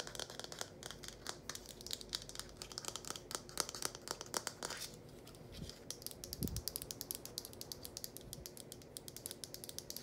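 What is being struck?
Hollow plastic funnel.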